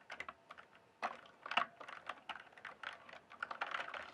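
Fingertips type on the plastic keycaps of a full-size RGB-backlit mechanical gaming keyboard, producing a quick run of sharp, clacky keystrokes. The clicks are short and dry, with bright upper tones and almost no low end.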